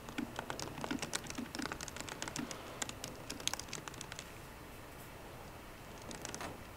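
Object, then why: Aluminum laptop keyboard with plastic keys. Fingertips with short green nails type rapidly on the low-profile plastic keys of a 13-inch aluminum MacBook Pro. Quick, crisp clicks with a bright top patter in an irregular stream. They pause briefly after about four seconds, then a few last taps come near the end.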